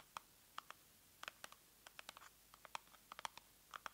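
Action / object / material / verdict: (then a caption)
tap / small cardboard box / cardboard / none. A small, hollow, pink printed cardboard box is held up and scratched and tapped with long nails. The result is a quiet string of sharp, dry clicks and scratches with a papery, mid-to-bright tone. The sounds come at an uneven pace, some in quick pairs, and each dies away almost instantly.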